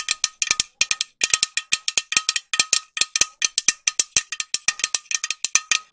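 A green metal aerosol spray can with a white cap is tapped with long nails close to the microphone. Quick, bright metallic clicks come in uneven bursts with short pauses, each tap dying out almost at once over a faint tinny ring, with no low end.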